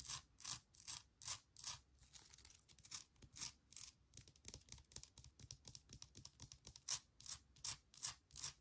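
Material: Granite.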